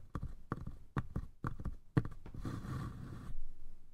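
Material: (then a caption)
Wood. A small, hollow, light-wood lidded box with a brass latch is tapped on its lid and sides with fingertips, producing quick, dull, low knocks in uneven clusters. The hollow taps have almost no ring. After about 2.4 seconds, a softer, brighter rustling wash continues for roughly a second.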